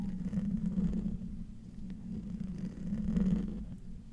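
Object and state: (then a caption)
Metal microphone grille being scratched. A silver microphone with a hollow metal mesh grille is slowly scratched with the fingertips and nails of both hands. The result is a close, muffled scraping rumble, heavy in the low end with a steady hum-like tone, that swells loudly twice with a quieter dip between.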